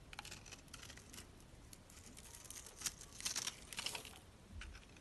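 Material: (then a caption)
Soap. A metal utility knife blade scrapes across a dry, hand-held bar of purple and pink striped soap that has been scored in a grid, crumbling off small soap cubes. The sound is a quiet, irregular run of bright, crisp crunches and scratches, with a few louder crackles near the end.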